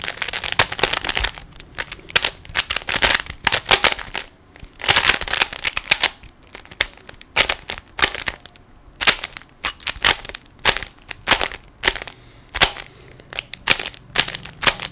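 A small, solid plastic 3x3 Rubik's cube is held in both hands while the fingers turn and snap its layers into place. The result is bursts of rapid, sharp, bright plastic clicks and clacks that die away almost instantly, with brief quiet gaps between the turning sequences.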